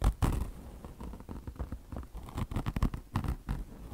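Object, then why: Mesh fabric over foam car wash sponge. A beige peanut-shaped car wash sponge of mesh chenille fabric over foam is scratched fast with long blue nails of both hands. Quick, dry scratching bursts overlap in an uneven, busy patter with a soft low rumble underneath.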